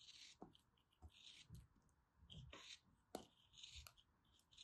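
A small, solid molded block of orange kinetic sand is held in both hands with long dark nails and cut and scraped with a small black plastic knife. Quiet, gritty crunches and bright, hissy scraping bursts come in short uneven strokes, with soft low thumps as the blade presses in. Each stroke stops almost at once with no ring.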